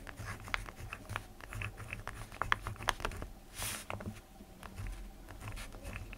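A ballpoint pen scratches across the page of an open lined paper notebook while fingertips rest on the paper. The clip is a quiet run of short, dry scratching ticks and strokes, with a brief brighter hiss in the middle, over a low background hum.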